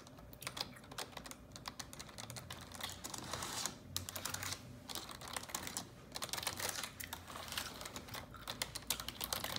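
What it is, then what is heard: Plastic computer keyboard. Long neon-yellow nails type steadily on a black plastic computer keyboard. A rapid stream of sharp, bright clicks and clacks comes with short pauses in between, each tap dying away almost at once.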